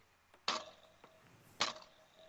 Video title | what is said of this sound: May 17/20 - Spooked in Seattle | you can hear the spring